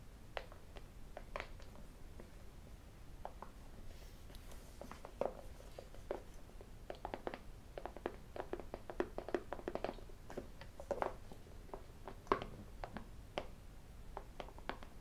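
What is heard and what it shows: A small, hollow, closed white cardboard iPhone box is held in the hands and tapped with fingertips and metal rings. Many quick, light hollow taps are heard at an irregular pace, mixed with sharper, brighter clicks from the rings and faint handling scratches. Each tap dies away almost at once over a quiet background.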